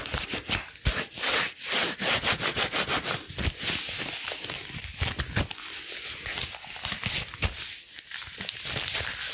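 Long blue rubber gloves are worn on both hands, and one gloved hand is rubbed along the other, palm over palm and across the fingers. The strokes come at an uneven pace, producing bright, hissy rubbing and squeaky friction with faint crackles.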